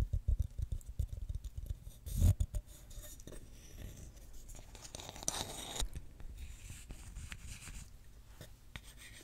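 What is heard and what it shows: A small, solid reddish-brown wooden block held in the hands close to the microphone is tapped about ten times with dull, low, quickly fading knocks. It is then rubbed and scratched with long fingernails and fingertips, giving a soft, steady scraping texture with brief brighter swishes.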